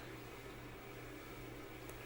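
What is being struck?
Nothing is struck.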